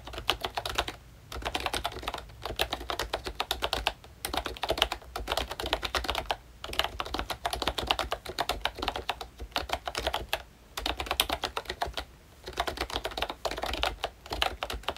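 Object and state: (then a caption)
Plastic membrane keyboard being typed on. Fingertips of both hands type on a pink, full-size ROYCHE Disney Mickey Mouse retro plastic membrane keyboard with round dark keycaps and a hollow body. Fast runs of short, bright, hollow plastic clacks come in bursts broken by brief pauses.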